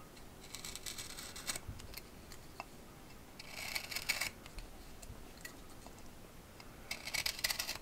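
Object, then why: Green wooden branch with bark, scraped by a steel knife. A steel carving knife whittles and scrapes bark and wood from a fresh, thumb-thick green tree branch with bark, held by hand on a wooden workbench. Three bursts of short, bright, dry scraping strokes are heard, separated by quieter pauses with faint clicks and ticks.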